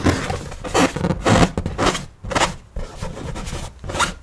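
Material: Latex rubber.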